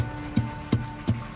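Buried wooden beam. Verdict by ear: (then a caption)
Hollow. Four dull, low thuds on a buried wooden beam in the Garden Shaft, each ringing briefly over a faint steady hum. The beam sounds hollow, taken as a sign of empty space, possibly a tunnel, below.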